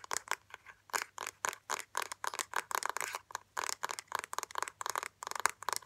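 Fingernails rapidly tap and scratch the rim and lid of a small, round, hollow black plastic makeup compact with a gold-ringed rim, held in both hands. The result is a quick series of dry, clicky taps and brief scratchy bursts that are bright in the midrange around 1 kHz, with no low end and no ringing after each hit.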